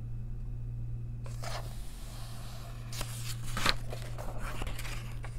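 A long nail tip traces along a printed line of text on a crossword page in an open paper coloring book, producing soft, dry scratching strokes with bright, hissy bursts. The scratching starts after a moment of quiet and continues in uneven strokes over a steady low hum.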